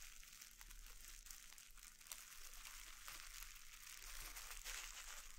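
Flat fingertips press and rub a clear plastic air-bubble wrap sheet lying on a wooden board, crinkling the plastic and popping bubbles. A steady, bright, hissy crinkle runs throughout, broken by scattered sharp clicks and pops over a faint low hum.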